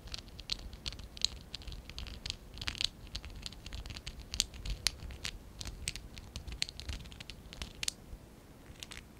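A small, hollow stack of pink and dark blue ABS plastic Lego bricks is held in both hands while fingertips and short nails scratch and rub them. Many quick, dry, bright clicks and scrapes come in an uneven, pattering series over a faint low rumble. Each sound stops almost instantly.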